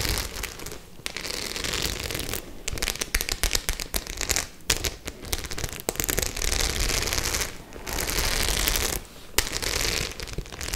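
Long nails and fingertips scratch and tap across a white studded faux leather clutch bag with metal studs. The result is a dense run of bright, crackling scratches and sharp little clicks, with short quiet gaps between bursts.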